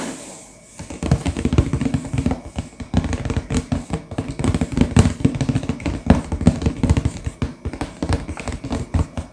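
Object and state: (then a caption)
Full cardboard box. Fingertips tap and rub the printed back face of a sealed, full, medium-sized hollow cardboard LEGO box lying flat. After a quiet start, a dense stream of soft, dull, low taps with very short decay is heard, mixed with light scratchy rubbing.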